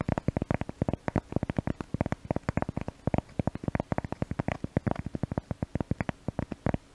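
A cork object is tapped rapidly and repeatedly to test a new microphone, producing dense, soft, dull taps. Each tap is short and low-pitched, with energy mostly below 200 Hz and almost nothing above 2 kHz, and the taps decay almost instantly.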